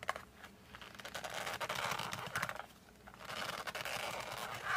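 Thumbs and fingertips grip and scratch the back side of a cardboard colored pencil case held in both hands. Dry, bright scratching and rubbing comes in dense irregular bursts, eases into a quieter stretch near the three-second mark, then builds again toward the end.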